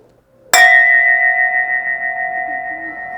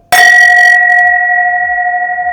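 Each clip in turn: First: long-ringing crystal wine glass. Second: crystal wine glass holding white wine, slightly shifted pitch.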